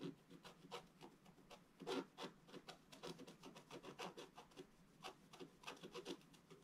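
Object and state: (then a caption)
Scratch art card being scratched. A wooden stylus scratches near the right edge of a flat, black-coated scratch art card. It makes a quiet, rapid series of short, dry, rasping strokes with a bright, papery hiss and almost no low end. A few strokes stand out louder along the way.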